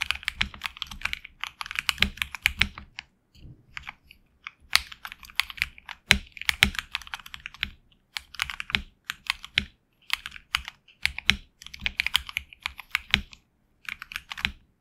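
A HyperX Alloy Origins Core tenkeyless mechanical keyboard with HX Red switches and grey and red PBT keycaps, resting on a deskmat, is typed on with the fingertips of both hands. Bright, crisp keystroke clacks come in rapid bursts separated by brief pauses, each click dying away almost instantly with very little low end.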